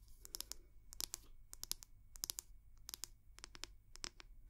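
The wooden back of a round wooden hair brush, held up close to the mic, is tapped and scratched with long nails. Quick clusters of sharp, dry, bright clicks and scratches come in bursts with no ring after each one, over a faint low hum.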